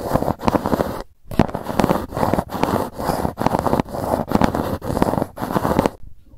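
Long nails scratch and tap across the top and edges of a grey GUCCI cardboard gift box. Dry, crackly scraping comes in steady bursts separated by brief pauses, with the sound sitting mostly in the low mids. Each burst stops cleanly with almost no ring.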